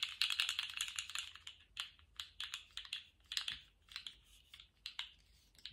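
A colourful jointed plastic slug fidget toy, held in lace-gloved hands, is shaken and wiggled so its hollow segments rattle. A dense flurry of rapid, dry plastic clicks comes first, then gives way to separate short rattling bursts. The sound is bright and crisp, centred around 2.9 kHz, with almost no low end and no lingering ring.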